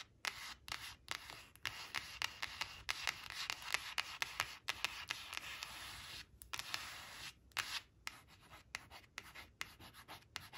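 Long nail tips trace the letters of a thin, flat, glossy coated cardboard word flash card reading "brown" as it rests on a fabric cloth, scratching its surface. About thirty quick, dry, bright scratching strokes come in short bursts separated by brief pauses, with no low end and no ring.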